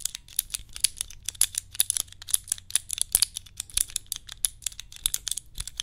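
Long nails tap and click rapidly on a small hand-held cube puzzle with clear plastic tiles, held close to the microphone. The dense, irregular clicks are sharp, bright and dry, dying away almost instantly, with only a faint low hum beneath them.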